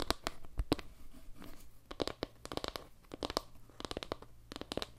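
Long nails tap and scratch across the face of a solid, round panel made of wooden log slices with a dark tiled center. Quick, dry, sharp taps come in uneven bursts, with faint scratchy rustling between them.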